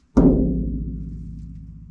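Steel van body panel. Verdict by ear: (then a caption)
Ringing. A single knock on a bare steel van panel with no sound deadening fitted. It gives a low, booming ring with a tone around 266 Hz that hangs on and slowly fades through the whole two seconds. The panel rings much longer than a deadened one.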